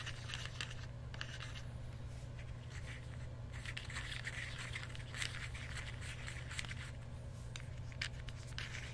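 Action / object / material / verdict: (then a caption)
tap / plastic fidget cube / plastic / none. A small, solid black-and-red plastic fidget cube is held next to the microphone while fingertips press and click its buttons and switches. Light, bright clicks and scratchy scrapes are heard over a steady low hum.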